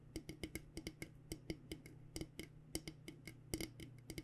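Fingernails tap near the steel bottom of a purple coated, insulated stainless steel water bottle held sideways. There are about 22 quick, uneven taps, each a short metallic tick with a faint ring near 320 Hz and bright edges. A steady low hum runs underneath.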